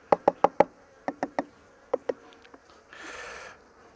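Knuckles rap on an empty part of a wooden beehive body with frames during a hive inspection. Nine sharp, hollow knocks come in quick groups, each with a short ringing tone around 570 Hz over faint bee buzzing, followed by a brief breathy hiss. The ringing marks that part of the hive as empty.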